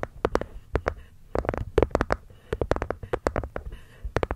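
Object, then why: Wooden box. A wooden box is gently tapped with the fingers, producing a quick run of soft, dull knocks. Each knock has a woody, mid-pitched body, a brief bright click on top and almost no ring. The taps come in uneven clusters separated by short pauses.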